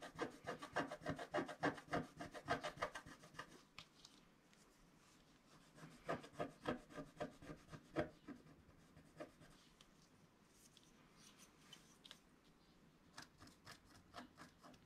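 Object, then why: Wax-coated scratch-art paper and wooden stylus. A pointed wooden stylus, held in the fingers, scratches a flat A4-size scratch-art sheet with a black wax coating over a colored layer, while the other hand holds the sheet down on a cloth-covered table. Quick, dry, rasping strokes come in a dense run for the first few seconds, pause into near-quiet, return in a second burst around six to eight seconds, then fall to sparse, light scratches with a few sharper strokes near the end.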